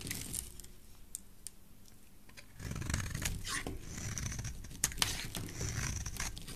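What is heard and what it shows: A rectangular solid yellow bar of soap is held in the hand while its edge is shaved with a metal blade. Dry, crunchy scraping strokes with bright, crisp clicks come in quick, uneven bursts, starting quietly and then turning into denser, fuller scraping with a few sharper snaps near the end.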